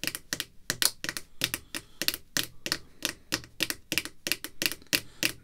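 Long red fingernails tap rapidly on a clear plastic graded card slab holding a vintage card, back side up, lying flat on black cloth. Twenty-two quick, bright, dry clicks land in a busy, uneven rhythm, each stopping almost instantly, with very little low end.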